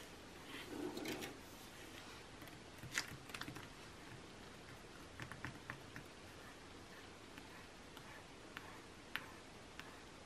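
Long nails tap the same page spread of an open glossy magazine lying flat, its thin coated paper giving a brief soft rustle at the start. A scattered series of quiet, sharp, bright clicks follows, each dying away almost instantly over a low, steady background.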